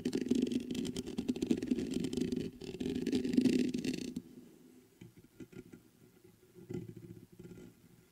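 Fingertips scratch the mesh grille of a black metal USB condenser microphone on a stand, making a dense, continuous scraping rustle with a strong low-mid body and a bright hiss for about four seconds. The scratching then stops and the fingertips tap the metal body, giving quieter, scattered dull knocks with short decay.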